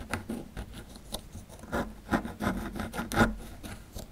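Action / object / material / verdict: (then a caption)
scrape / small plaster block scraped with a metal pick / plaster / none. A small solid plaster block with a dinosaur relief, held in the hand, has its edge scraped with a metal pick tool. Short, dry, gritty rasps and scratches repeat irregularly, each dying away almost at once, with a faint bright crackle of crumbling. Crumbs of plaster pile up as the scraping goes on.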